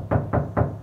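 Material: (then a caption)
Sheet steel. Three knocks on an undamped steel side panel of a van produce hollow, booming thuds centered low around 150 Hz. Each has a short resonant ring, showing the sheet metal has no sound damping and resonates freely.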